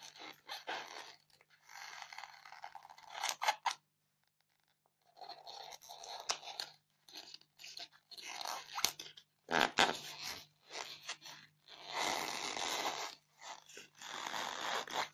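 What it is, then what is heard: Styrofoam block, scratched. Long fingernails scratch the top surface of a solid white polystyrene foam block, making crunchy, bright scraping sounds. The scratches come in short, irregular bursts with brief silent gaps between them, and a faint low hum runs underneath.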